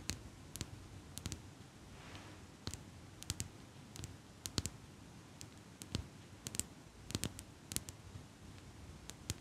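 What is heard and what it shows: Long pink nails tap and click along the metal frame and handles of a small metal eyelash curler held in both hands. Sharp, bright, quickly fading clicks come in irregular single and paired bursts over a soft, steady low background hiss.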